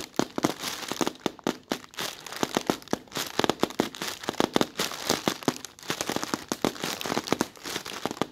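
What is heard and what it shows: Fingertips with red nails scratch and pinch a translucent, white, thin plastic bag that is soft and hollow, working its wrinkled film. The result is a dense run of sharp, crackly crinkles with bright, hissy texture and very little low end. The crackles come in rapid bursts with no clear pauses.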